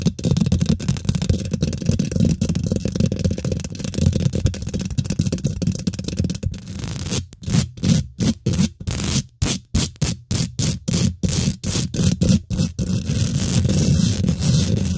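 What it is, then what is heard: Metal mesh microphone grille being scratched. Fingernails rapidly scratch the top of a hollow steel wire-mesh microphone grille, producing a dense, boomy scraping rumble that is heavy in the low end. Midway through, the scratching breaks into quick, choppy bursts separated by brief silences before returning to a steady, continuous scrape.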